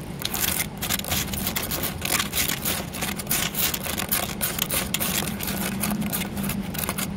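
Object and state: Carved concrete flower pot.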